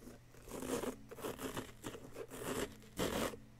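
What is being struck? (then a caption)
Plaster block scraped with a small wooden chisel. A small wooden chisel, held at the fingertips, scrapes a solid yellow-green plaster dig-kit block. It makes a series of short, dry, gritty scraping strokes with a bright, crumbly texture, spaced irregularly. A faint steady low hum sits underneath.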